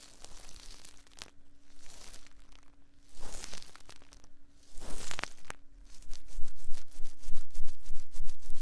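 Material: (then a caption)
Silicone. Cotton swabs held in both hands rub and scratch inside the soft silicone ear molds of a binaural 3Dio microphone. Soft, scratchy rustling and crinkling builds into louder surges, with a steady low hum underneath. It ends in a quick run of rapid, evenly paced scratches.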